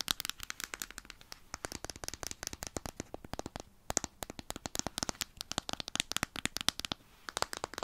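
A small, closed, full round plastic jar of petroleum jelly with a blue plastic lid is held in the hands and tapped and scratched all over with long painted nails. The result is a rapid, uneven run of crisp, dry clicks and scratchy ticks, bright and high-pitched with almost no low end, each dying away instantly, with a few brief pauses between bursts.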